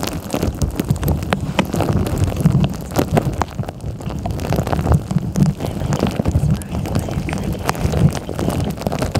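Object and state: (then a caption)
Plastic tumbler tapped with nails. Long nails tap rapidly on the top of a clear plastic tumbler with a green lid that is filled with beads. The result is a dense, continuous run of clicky taps over a muffled, low rumble, with the beads rattling faintly inside.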